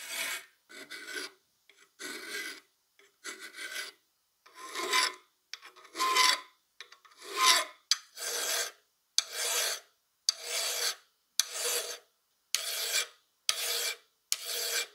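A solid steel half of a rusty plier, held in a vise, has its jaw worked with a flat steel file. Repeated bright, raspy scraping strokes sound with short silent gaps between them, settling into a steadier back-and-forth rhythm toward the end.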